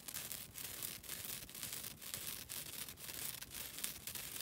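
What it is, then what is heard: Nylon scouring pad being scratched. Long dark-blue nails scratch a flat, thin, solid green synthetic nylon scouring pad held close to the microphone. The result is a steady, dry, bright scratching hiss in rhythmic strokes about every half second, with little low end.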